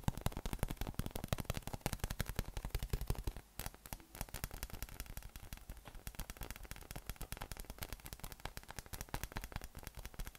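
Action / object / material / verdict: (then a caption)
tap / inflated PVC massage ball / PVC / none. Thumb and fingertips tap rapidly on a yellow, hollow, inflated PVC spiky massage ball with nubs, held in the hands. The taps come as a quick, uneven patter of short, dull, hollow thumps with a low body and almost no ring. They soften slightly after the first few seconds and then continue steadily.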